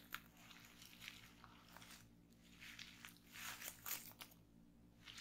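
Fingertips with long nails press and pop the bubbles in a folded bundle of clear plastic bubble wrap resting on a table. Sharp, bright pops and crinkly crackles come in bursts separated by brief pauses, over a faint low hum.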